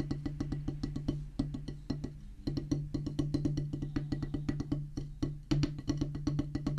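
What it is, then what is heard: Rubber drum practice pad on a wooden base. Two wooden drumsticks tap fast on a solid black rubber practice pad set on a wooden base, giving a steady run of about 44 short, dry taps. Each tap has a dull, low body with a faint pitched knock and almost no ring or bright edge. The taps run evenly at an uneven loudness, with a few harder accents along the way.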